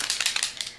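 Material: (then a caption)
Plastic. An oil-based Sharpie paint pen is shaken before use, as its directions instruct. Its mixing ball rattles in a quick run of bright, high-pitched clicks with almost no low end.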